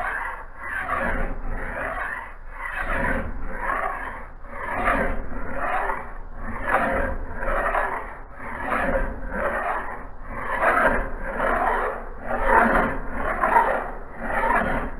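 A hand-held metal file is drawn across the blade edge of a solid steel axe head clamped in a bench vise on a blue cloth. Steady, rhythmic rasping scrape strokes repeat about every two seconds, with a gritty midrange hiss and a faint high shimmer over a low background rumble.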